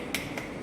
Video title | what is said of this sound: FAC Training Series | we tap it if it sounds sharp it's set